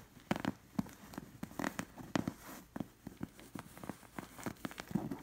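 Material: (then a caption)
Linen fabric. Long nails trace and scratch over the stitched camel appliqués on a soft cushion with a linen cover. A rapid, irregular series of short, dry scratching strokes is heard, with a soft low-mid texture and only faint brightness, over a quiet fabric rustle between strokes.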